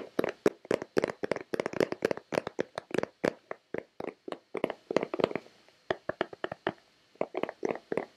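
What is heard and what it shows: A hollow white plastic Nivea lotion bottle is tapped with long red-painted nails and fingertips. It gives rapid, dry, hollow taps centered around 420 Hz with bright clicky edges. The hits come in quick irregular bursts with short pauses and almost no ring.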